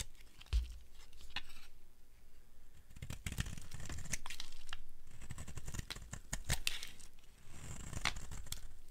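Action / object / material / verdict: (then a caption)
scrape / bar of soap scraped with a blade / soap / none. A utility blade scrapes the edge of a solid, dry red soap bar. Irregular dry scraping and crackly, tearing crunches repeat in quick strokes with soft low thuds underneath. Dry, crumbly shavings come off the bar.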